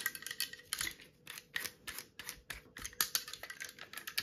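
Long nails tap and scratch quickly over a hand-sized steel rivet gun with black handle grips. The result is a fast, uneven run of sharp, bright metallic clicks and raspy scrapes, each dying away almost instantly, with very little low end.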